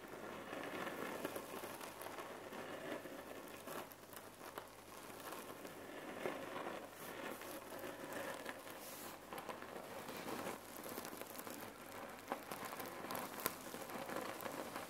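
A red cotton neck pillow filled with cherry pits is tapped and scratched by long nails across its fabric surface. Continuous soft crinkling and gritty rustling carry throughout, with occasional sharper taps as the pits shift inside.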